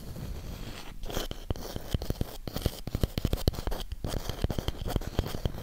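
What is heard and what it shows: Long pink nails scratch and tap the surface and rim of a thick, palm-sized round cork coaster block held close to the mic. A low, soft scratching bed is broken by a quick run of short, dull taps with very little ring.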